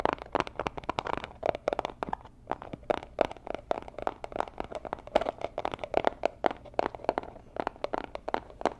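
Long nails and fingertips tap and scratch the surfaces of a small, rigid, hollow robin's-egg-blue Tiffany & Co. cardboard gift box held in both hands close to the mic. A rapid, uneven series of sharp, dry taps, each with a hollow midrange knock, mixes with brief scratchy crinkles for the whole clip. Every tap stops almost instantly with no ring.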